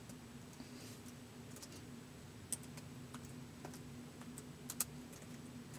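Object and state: Plastic laptop keyboard.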